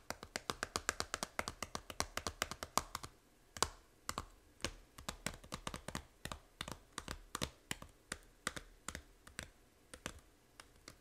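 Long nails tap rapidly on the front cover of a small, hollow plastic Nintendo 3DS game case for Fantasy Life. The taps are dry, bright clicks with almost no ring: a fast flurry at first, then sparser taps with brief pauses in between.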